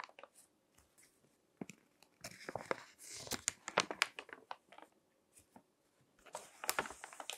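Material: Paper.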